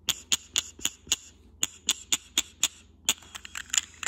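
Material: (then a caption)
Glass. Short nails and fingertips tap and scratch a small, hollow, cylindrical white textured glass vase with a grey geometric pattern. Ten crisp, bright clicks come at a steady pace with a short pause midway, then give way to a quicker, scratchier flurry of light taps. Each tap is dry and very short, with almost no ring.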